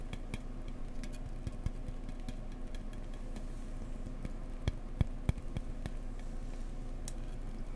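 An insulation board is tapped gently up close with fingertips, with some scratchy tapping mixed in. Soft, dry clicks with high, bright edges sit over a steady low hum, and a few sharper taps stand out near the end. Each tap dies away almost instantly.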